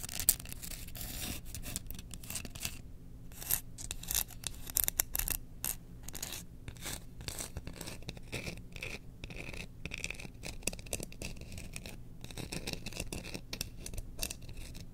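Long nails scratch the bowl of a held bamboo spoon decorated with Chewbacca, producing a dense, continuous run of quick, bright scraping strokes over a steady low hum. A few sharper scratches stand out near the start and in the middle.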